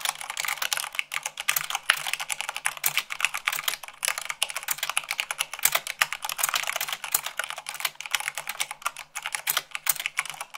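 Fingertips with long nails type rapidly on a white plastic mechanical keyboard, at about 98 words per minute. A dense, continuous stream of sharp, bright clicks and clacks is heard, each keystroke dying away almost instantly with no low-end thump.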